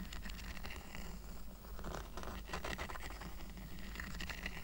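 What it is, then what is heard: Woven rattan coaster being scratched. Fingertips and short nails scratch and tap along the woven strands of a small, round, flat, thin, solid woven rattan coaster lying on a fleece blanket. The result is a quiet, continuous patter of dry scratching and light tapping with bright, crackly texture, over a steady low hum.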